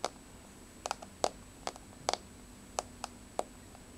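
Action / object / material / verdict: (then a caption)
tap / laminate floor tapped with fingernails / laminate / none. Long, rounded, blue-grey polished nails on both hands tap a flat, solid wood-look laminate floor. Ten short, dry clicks with a midrange knock and a bright edge come at an uneven pace, some in quick pairs, over a quiet background. Each tap dies away almost instantly.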